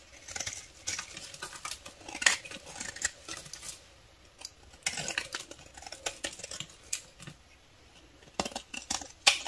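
A solid pale beige bar of soap held in the palm is scraped and shaved with a metal utility knife blade, curling off shavings. The sound is bright, dry, crisp scraping in quick strokes and bursts, with short quiet gaps between runs.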